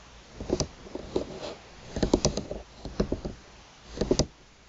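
Long pointed nails tap and drag across the thin slats of a flat bamboo slat placemat lying on a table. Quick, dry, woody clicks come in short bursts with scratchy rustling between them. Each tap dies away almost at once.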